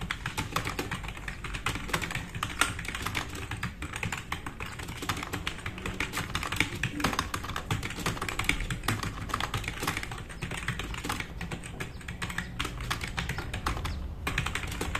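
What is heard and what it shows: Fingertips of both hands type fast on a black RGB-backlit tenkeyless plastic mechanical keyboard with plastic keycaps, resting on a wooden desk. A dense, steady stream of quick clacks runs throughout, each with a bright click and a low thump that dies away almost at once.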